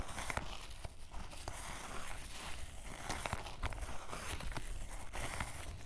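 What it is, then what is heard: Canvas fabric waist bag. A small wooden-backed shoe brush is rubbed and scratched across a grey canvas fanny pack lying on a table while the other hand holds the bag steady. It produces a continuous dry, scratchy rustle with brief bright scraping strokes over a steady low rumble, each stroke dying away almost at once.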